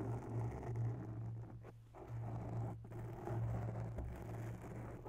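Long bare nails slowly scratch the sides of a soft, porous grey foam microphone windscreen. The result is a muffled, low, rumbling scrape and rustle with a steady deep hum, nearly no high end, and brief quiet dips between strokes.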